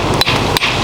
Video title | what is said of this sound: Under Bridge Inspection | hit things with hammers to make sure that they're not hollow. That's solid.